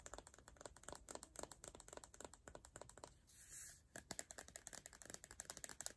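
Long nails tap rapidly on an empty, hollow clear plastic body mist bottle with a colourful label and an orange pump top, making quick, dry, bright clicks. Midway, the tapping pauses for a smooth, bright hiss lasting under a second, then the clicking resumes.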